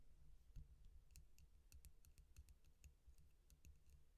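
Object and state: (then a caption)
Stainless steel drinking straw. A hollow stainless steel drinking straw is held between both hands and tapped and clicked with long painted nails, while an empty bowl nearby is left untouched. Quiet, sharp, bright clicks come in an uneven run over a soft low rumble, each one dying away almost instantly.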